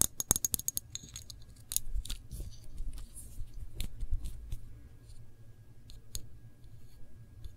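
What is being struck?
Glass jam jar.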